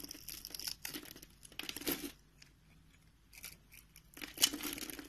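A box-cutter blade scrapes and carves a solid, palm-sized rectangular tan soap bar held in one hand, its surface pre-scored into a grid. The cut produces bursts of crisp, bright crunching and scraping with short quiet pauses between them, as small cubes and shavings flake off.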